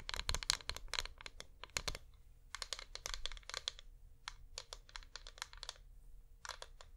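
A flameless wax pillar candle is held in both hands and tapped with long nails. Quick bursts of sharp, dry, bright clicks patter in clusters with brief pauses between them. There is no ring after each tap, only a faint low background hum.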